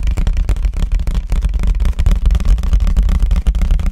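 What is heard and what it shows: A white paper plate, held facing the camera, is tapped fast with fingertips on its eating side. The result is a dense, continuous run of quick, dull thumps, heavy and low with almost no high content, each tap fading almost at once.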